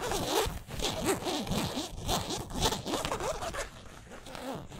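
Nails and fingertips scratch across the stitched twill lettering of a yellow San Francisco basketball jersey made of polyester mesh, hanging on a hanger. Quick, uneven strokes make raspy, zipper-like scratching with sweeping mid tones and a bright hiss. The strokes run steadily, then grow slightly quieter toward the end.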